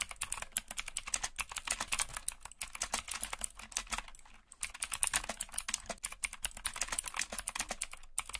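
Fingertips with short nails type and tap on the hollow keys of a backlit black plastic mechanical computer keyboard in low light. The result is a rapid, steady stream of sharp, bright clicks with almost no ring and a thin low thump under each stroke. A brief lull comes near the middle before the typing picks back up.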